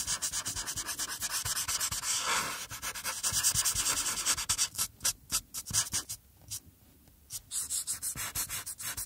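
A marker tip scratches and rubs over a flat printed paper coloring page in small strokes around the eyes and forehead, while a hand with long nails holds the sheet still. The sound is a dense run of bright, hissy strokes, continuous at first, then breaking into separate short scratches with quiet gaps near the end.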